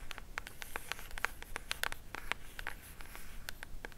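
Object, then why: Small cardboard jewelry box. Long matte black nails scratch and tap across the surface and edges of a small pink cardboard jewelry box. Quick, dry, bright clicks come in an uneven rapid patter with light scratching between them, each tap dying almost instantly. The sounds are quiet and close over a faint low background.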